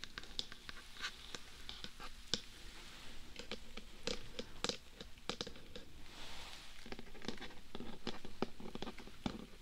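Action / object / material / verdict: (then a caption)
tap / hard plastic dummy-head microphone / plastic / none. Fingertips and nails tap and scratch a hollow, life-size, black hard-plastic dummy-head binaural microphone, first on the top of the head and then on the face and sides. Quick, dry clicks with almost no ring mix with bright, hissy scratching swells over a soft, low background rumble.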